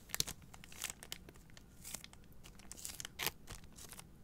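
Long nails scratch and rub the plastic film wrapped around a pack of three white paper towel rolls held upright. The result is a quiet, bright crinkling and scratching texture, with irregular sharp bursts scattered over a soft hiss.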